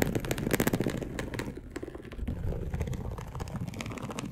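Long acrylic nails slowly scratch a dark polyester mesh bed sheet lying loosely in soft folds. The result is a dense, soft, rustling rasp of quick, overlapping scrapes with a muffled, low-heavy tone, louder at first and then settling into a steadier, quieter scratching.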